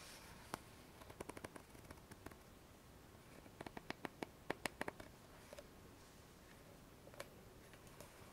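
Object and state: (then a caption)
Plastic cream tube. Long fingernails tap and scratch a small, squeezable white plastic cosmetic tube of argan cream held upright on a foam mat. Quick, dry, bright clicks come in scattered clusters, with faint scratching under a quiet, steady hiss. Each tap dies away almost instantly.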